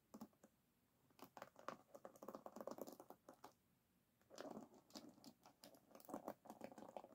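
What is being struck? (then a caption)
Wooden hairbrush with wooden pins. Fingernails scratch and pluck the wooden pins of an oval wooden hairbrush held on a table. The result is quiet bursts of short, dry, rapid clicks and scratches, mostly mid-range, separated by brief silent pauses.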